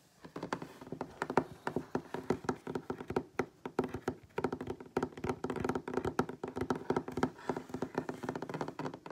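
Fingertips and short nails of both hands tap rapidly on a solid wooden tabletop. The result is a quick, uneven run of dry, short knocks with a woody midrange tone around 390 Hz. Each tap dies away almost instantly.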